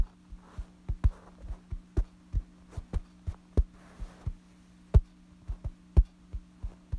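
Fingertips scratch and tap the surface of a light-colored soft fabric bedsheet lying flat. Soft, dull taps thump at an uneven pace, with faint brushing scratches between them. A steady low hum runs underneath.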